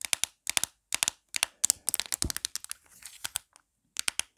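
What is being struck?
Plastic phone case.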